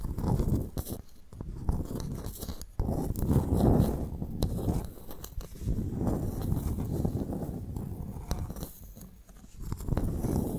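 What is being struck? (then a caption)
Clam shell. A pearl clam's shell is tapped and scratched before the clam is opened for pearl extraction. Soft, irregular low taps mix with crunchy scraping textures and a few sharp clicks, all with little high-frequency content.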